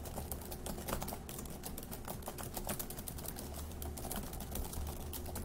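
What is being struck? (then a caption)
Plastic laptop keyboard. Fingertips of both hands type fast on the plastic keys of a dark grey laptop keyboard. A dense, steady stream of quick, light clicks runs throughout over a low, constant hum.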